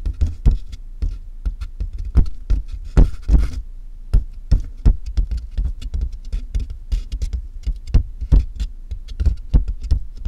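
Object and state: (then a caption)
Cardboard box, hollow. Both hands rapidly tap and scratch the top of a medium, closed, hollow corrugated cardboard box with fingertips and nails, picked up by a mic inside the box. The result is a quick, uneven patter of deep, boomy thuds with short decay, broken by brief, papery scratching bursts that reach into the high range.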